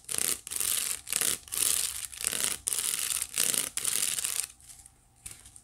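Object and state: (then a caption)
Wicker basket scratched. Fingertips and long nails scratch and rub the weave of a hollow white woven wicker basket. A series of bright, hissy scratching strokes follow one another with brief pauses, carrying almost no low end. The strokes then fall to a faint, quiet rub near the end.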